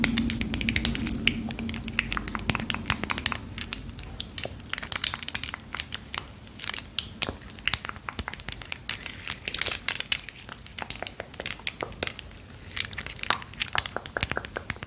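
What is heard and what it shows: Long pearl-decorated acrylic nails rapidly tap and scratch a small, hollow yellow plastic tube of bubble solution held close to the microphone. The result is a dense, steady stream of crisp, bright clicks and scrapes with almost no ring, over a faint low hum in the first few seconds.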